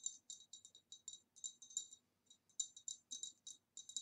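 Quick, light taps on a green retro glass vase produce bright, high-pitched clicks. About nineteen short taps come in uneven clusters with brief gaps between them, each dying away almost instantly.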